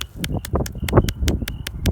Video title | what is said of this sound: Repair & Seal Down Roof Shingles Lifted by Wind | listen to this remarkable little tapping sound you know that's up now